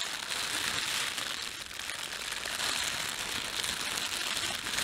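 Fingertips rub, pinch and crumple the film of a thin, empty, red printed plastic bread bag. A steady, dense crinkling and crackling runs throughout, bright and hissy with almost no low end.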